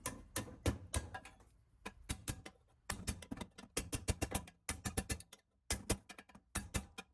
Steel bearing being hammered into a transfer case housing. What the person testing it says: You can hear it when it goes all the way down.